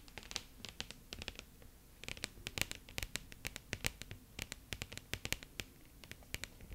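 Long yellow acrylic nails scratch and tap a medium-sized light wooden picture frame, presumably with a glass front, holding a black-and-white sloth print and held in both hands; it is unclear whether the nails strike the wood or the glass. Around three dozen quick, dry, bright clicks and short scratches come in an irregular patter over a faint low background, each dying away instantly with no ring.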